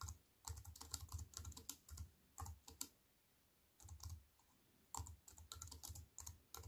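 Fast fingertip typing, from fingers with white-painted nails, on a slim wireless keyboard with black plastic keys in a grey metal-look frame lying on a wooden table. Quick runs of short, dry clacks have a soft low thud and a bright click, each dying away almost at once. The bursts are broken by brief quiet pauses.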